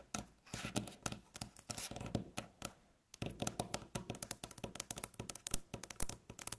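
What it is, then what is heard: Fingernails tapping and scratching a wooden tabletop. Long natural fingernails tap and scratch across a solid, light-colored flat wooden tabletop. The sound is quick, dry clicks with very short ring, mixed with rough scratching that has a bright edge. A brief silence falls around three seconds before the tapping resumes.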